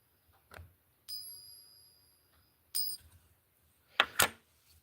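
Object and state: Real silver dollar coin.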